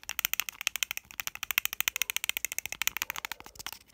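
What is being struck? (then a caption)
Plastic whiteboard marker. Long nails rapidly tap and click on the body and cap of a small, hollow plastic BIC whiteboard marker held in the hand. About 33 quick, dry, bright clicks come in a fast, steady stream with almost no ring and no low end, and they soften slightly toward the end.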